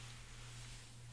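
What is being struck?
Nothing is struck.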